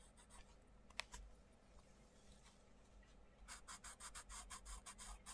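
A wooden coloured pencil, held close to its tip, scratches short strokes into a butterfly drawing on a paper page of an open colouring book lying on a table, while the other hand steadies the page. The clip is quiet, with a few faint scratches and one sharp tick early on. After a brief pause, a quick run of bright, dry, scratchy strokes follows, steady and close.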